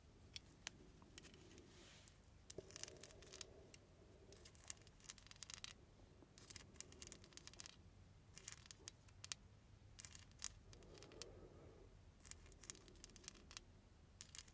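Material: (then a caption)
Glass, metal. Long nails tap and scratch a small ornate glass perfume bottle with a silver filigree overlay and a crystal stopper, held up in both hands. Quiet, rapid, bright clicks and ticks come in irregular clusters, with soft scratchy rustles between them over a low, steady background hum.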